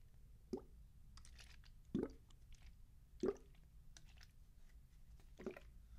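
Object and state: Plastic bottle partly full of liquid.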